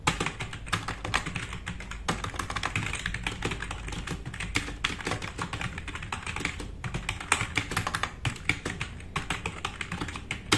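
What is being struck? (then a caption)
Mechanical keyboard with plastic keycaps. Both hands type fast with their fingertips on a compact RGB-backlit mechanical keyboard with black plastic keycaps, resting on a wooden desk. The result is a steady, dense stream of quick, bright plastic clacks over a low thocking body, each keystroke dying away almost instantly, with a few louder presses standing out.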